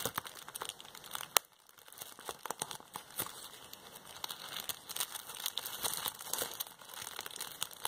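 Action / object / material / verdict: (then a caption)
scrape / plastic bubble wrap sheet / plastic / none. A hand-sized, crumpled piece of clear plastic bubble wrap with air-filled bubbles is held in both hands and squeezed and pinched with long painted fingernails to pop the bubbles and crinkle the sheet. Bright, dense crinkling and crackling run throughout, broken by quick sharp pops. One especially loud snap comes early and is followed by a short lull before the crinkling resumes.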